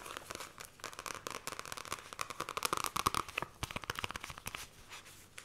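Long nails scratch and trace the glossy card cover and spine of a *The Fairy Bears* paperback book. The result is a fast run of dry, bright, crinkly scrapes and short clicks with a steady midrange rasp around 1.1 kHz. The strokes grow louder and denser in the middle, then ease off.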